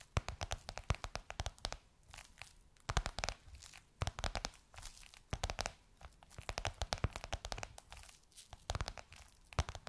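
Long nails tap and scratch the surface of a gold crocodile-embossed faux leather pillowcase on a soft cushion. Quick clusters of sharp, dry taps and crinkly scratching come in bursts separated by brief quiet pauses, with a soft low thump under bright clicks. Each tap dies away almost instantly.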